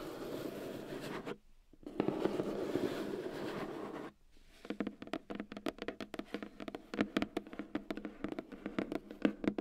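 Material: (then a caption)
Cardboard. Long dark-red painted nails scratch across the lid of a long, flat, white cardboard retail box with a keyboard packed inside, lying on a fur rug. Two stretches of dense, hollow scratching are split by short pauses, then turn into a run of sharp, quick taps on the lid. Each tap is a dry, hollow knock that dies away at once.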